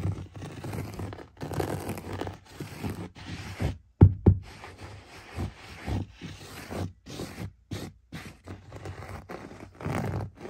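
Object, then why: Cut-pile carpet. A bare hand scratches and rubs the pile of a beige cut-pile carpet with a sculpted geometric pattern on a floor, using fingertips and short nails. Soft, low, muffled scraping and rustling comes in uneven bursts, with a couple of sharper thumps in the middle.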